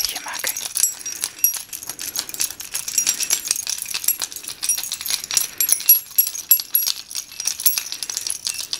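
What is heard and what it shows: A small bunch of solid metal keys on a ring is held up by the ring between fingertips and shaken in front of the microphone. The result is a continuous bright jangling made of many quick, short metallic clinks and rattles with almost no low end.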